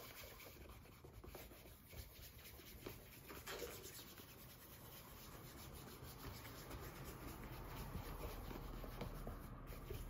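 A gloved hand buffs the upper of a hollow brown leather derby shoe resting on a counter, rubbing it with a white cloth. The sound is a quiet, continuous soft rubbing with loosely rhythmic strokes, about four per second, mostly low and dull with little brightness. It grows slightly louder toward the end.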